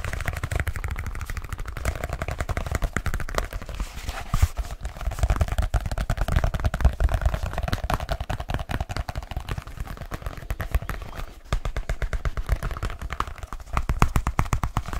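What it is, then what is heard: Leather case. Fingertips tap rapidly on the surface of a black leather case held up close, making a dense, continuous stream of short, dull, low thuds that cut off almost instantly. The pace stays fast and steady throughout, with only brief lulls.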